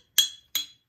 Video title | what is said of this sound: 3 bears music bottles | пустая бутылочка и это высокий звук